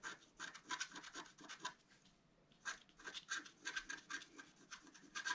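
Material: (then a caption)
Coated paper. A wooden stylus held in the fingers scratches the coating of a flat, black-coated scratch-art card about A4 size, lying on a white table, revealing colored lines. Quick, dry, bright scratching strokes come in short bursts with a brief pause near the middle. Each stroke is crisp, with no ring afterward.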